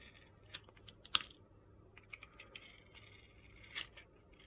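A steel utility knife blade shaves and scrapes thin slices off a hand-sized, solid rectangular bar of soap with a purple glitter coating and a white interior, held in the hand. Seven short, crisp, gritty scraping clicks stand out, bright and quiet, with almost no ring between them over a faint low hum.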